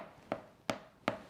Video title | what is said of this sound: Easy Vegan Gluten-free Buckwheat Bread: no rise, no yeast | you do the tap test it sounds hollow